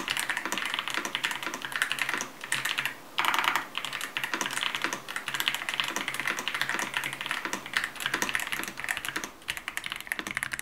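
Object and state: Plastic mechanical keyboard.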